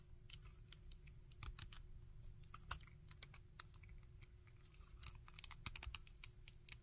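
Fingertips and nails tap a small hard plastic Shocker action figure with a textured brown and orange body, silver gauntlets and hollow-ish molded limbs, moving its jointed arms and legs. A steady stream of quick, dry, bright clicks and taps sounds over a low, constant rumble, each click dying away almost instantly.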